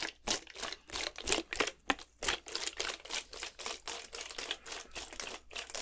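A clear plastic Gatorade bottle, partly filled with blue liquid, is shaken horizontally in one hand. It makes a steady run of quick, bright sloshing bursts with a crinkly plastic edge and very little low end. Each burst stops sharply before the next.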